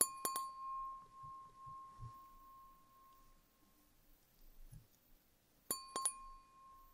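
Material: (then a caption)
Glass. Fingers tap the rim and bowl of a clear, empty wine glass held tilted in one hand, giving five ringing clinks: two close together at the start and three near the end. Each clink carries bright upper overtones over a sustained tone near 1 kHz that slowly fades, with faint low, soft sounds in the quiet gap between.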